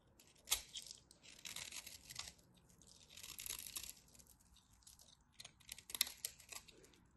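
A black craft knife shaves crunchy flakes off the edge of a dry, solid white textured bar of soap held in the hand. The sound is bright, dry scraping and crackling, coming in short crunchy bursts with sharp snaps and no ring afterward.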